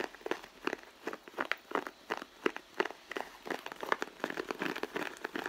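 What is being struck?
Pebbled-leather handbag.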